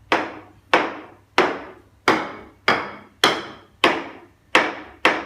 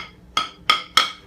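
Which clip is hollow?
The first.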